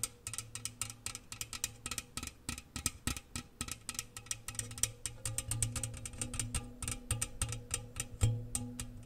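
Fingernails and fingertips tap fast on the walls of an open, empty, medium-sized round metal gingersnap biscuit tin, held with its hollow open side toward the mic and partly covering it. The rapid, irregular clicks have bright metallic tops and a hollow, boomy low resonance that hums through the steady run of taps.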